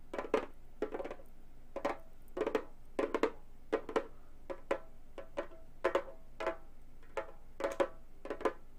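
A round, hollow Remo frame drum with a synthetic head is tapped with long gold metal finger claws, switching to one hand toward the end. Quick clusters of light, clicky taps give a short hollow tone around 440 Hz with a bright metallic edge. Each tap dies away fast, leaving brief pauses between bursts.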